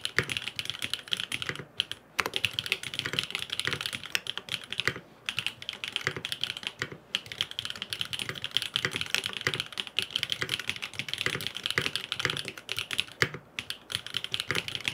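A grey aluminum FROG MINI mechanical keyboard with blue and purple plastic keycaps and no foam inside is typed on rapidly with fingertips. A dense stream of short, bright clacking keystrokes runs almost continuously, with only a few brief pauses.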